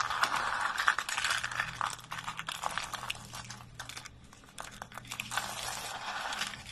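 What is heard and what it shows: Thin, dry, light-green soap shavings are crushed in fists and snapped with fingertips over a pile of flakes. The result is a dense, bright, crisp crunching and crackling that eases to softer rustles midway, then builds back up.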